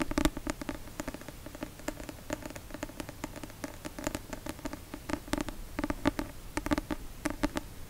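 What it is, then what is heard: Paperback book. A paperback copy of the novel *La Passe-miroir*, a solid paper book with a card cover, is held upright in one hand beside the microphone and tapped with the fingertips and nails. The result is a steady, uneven patter of quick, dry taps and light scratchy clicks with a soft, papery low-mid body and almost no ring, bunching into faster flurries in places.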